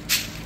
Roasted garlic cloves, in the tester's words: आवाज से पता चल रहा है की कितने अच्छे कड़क से हो गए हैं